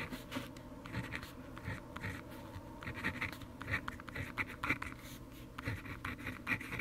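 The tip of a blue plastic pen, held in the fingers, scratches across a thin-paper handwritten notebook page lying open on a wooden desk while writing. Continuous scratchy strokes rise and fall in quick bursts, with a bright rasp centred near 2.3 kHz over a steady low rumble. The strokes are dry and short, with no ring after each one.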